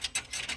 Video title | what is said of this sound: The Replacement Exhaust Didn’t Fit—Here’s How I Fixed the Rattle Instead | This is the rattling sound. This is all loose.